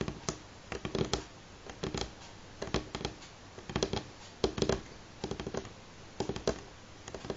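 Fingernails of both hands tap on a solid, light wooden table top. Quick, dry clicking taps come in short irregular bursts separated by brief pauses, each tap dying away almost instantly with a faint woody tone.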